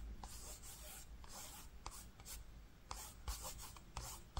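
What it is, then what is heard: Woven cotton fabric being rubbed. Fingertips and short nails trace and rub across a flat grey-green woven cotton fabric lying beside pink faux fur. The strokes make soft, scratchy swishes with bright, hissy bursts over a steady low rumble, broken by a few small taps and clicks.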